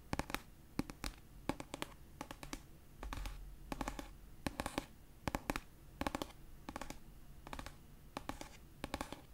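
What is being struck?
Paperback book with paper cover.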